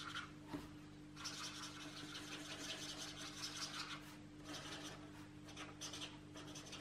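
A marker tip is rubbed and scratched rapidly over the paper page of an open paperback coloring book lying flat, while the other hand steadies the page. Bright, scratchy rasping comes in long, uneven stroke bursts with short pauses between them. A faint steady low hum runs underneath throughout.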